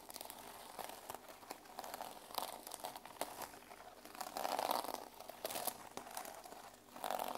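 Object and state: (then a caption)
Plastic sequin journal cover. Fingertips and nails rub and scratch back and forth across the plastic sequins on the cover of a small, solid, teal sequin-covered journal held in the hands. The result is a steady, dense crinkling, scratchy rustle with bright edges and a midrange focus. It swells louder around the middle and again near the end.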